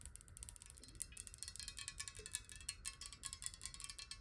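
Long nails tap fast on a clear glass water bottle that is hollow, partly filled with water and held on its side. The result is a quick, steady stream of bright, clicky taps that die away almost instantly, over a faint sustained tone near 1.7 kHz and a low background rumble.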